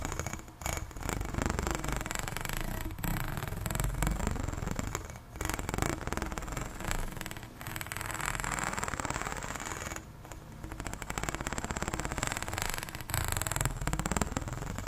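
Long nails run along the ridges of a long, arched, pink, ribbed, hollow plastic corrugated pop tube, making a dense, low, rasping stream of rapid ticks and clicks. The scraping continues steadily through the clip, with brief dips before and after each new stroke.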